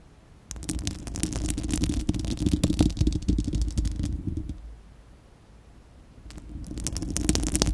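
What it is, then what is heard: Metal mesh microphone grille. Long acrylic nails on both hands scratch a bare, hollow, fist-sized spherical steel wire-mesh microphone grille, producing a dense, rapid crackling scrape over a heavy low rumble with a hollow resonance. The scratching runs from about half a second to four seconds, pauses into near silence, then resumes around six seconds and continues to the end.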